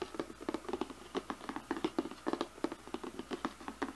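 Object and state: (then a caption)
Cardboard box tapped with nails. Fingernails tap and knock on the top and edges of a glossy cardboard slicer box in a quick, uneven series. Each hit is short and dry with almost no ring, giving a hollow, mid-pitched papery knock with brighter clicks on top.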